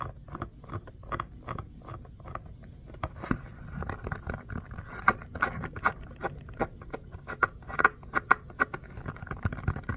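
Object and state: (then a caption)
Rubber mini basketball. Fingertips and nails tap and scratch the bumpy, pebble-textured surface of a small orange rubber mini basketball with black seams, held up close. Quick, dry taps and short scratchy brushes come in an irregular patter over a low rumble. The louder taps carry a faint ringing tone near 1.4 kHz that dies away almost at once.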